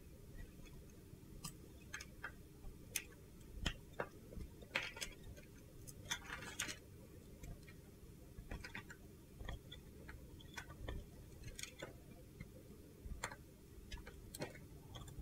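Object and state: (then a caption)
Soap bar being scraped with a blade. A utility knife blade chips and scrapes crumbly flakes off a solid, handheld, mint-green glittery soap bar. Short, bright crunchy clicks and scratchy bursts come irregularly over a low, steady background rumble.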